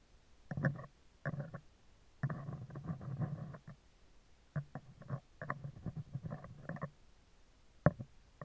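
Metal tweezers scratch the left side of a hollow, round steel wire-mesh microphone grille, producing bursts of low, rumbling, rustling scrapes. These come in irregular groups separated by quiet gaps, ending with one sharp, louder scratch near the end.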